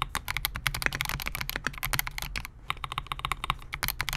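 A compact 68-key Melgeek MOJO68 mechanical keyboard with Gateron G Pro Silver switches, a clear polycarbonate case and SA-profile plastic keycaps rests on a desk mat while the fingertips of both hands type on it continuously. The result is a rapid, steady stream of sharp, bright clacks over a low thocky body, each keystroke dying away almost instantly.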